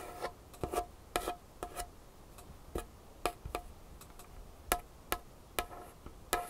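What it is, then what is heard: Wooden table. Long fingernail tips tap and scratch across a large, solid, varnished wooden tabletop in a quiet space. Sharp, dry clicks come in uneven bursts, each ringing only briefly with a faint hollow tone near 700 Hz and a bright edge. Soft scratching fills the gaps between taps.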